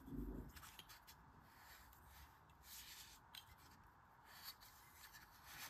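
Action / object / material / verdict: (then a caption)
scrape / kinetic sand in a stainless steel ice cream scoop / sand / none. Green kinetic sand packed into a fist-sized stainless steel ice cream scoop, held in an open palm, is squeezed by the handle with a hand with long red nails, compressing and crumbling the sand. A soft low thump at the start gives way to steady, quiet, gritty crunching and rubbing of sand against the metal bowl, with a few brief brighter scrapes.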